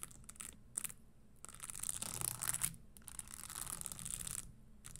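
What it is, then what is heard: Studded leather stiletto pump. Long nails tap the insole edge and scratch the studded upper of a red spiked leather Christian Louboutin stiletto pump standing upright. Quiet, bright scratching swells and fades in bursts, broken by light, quick taps.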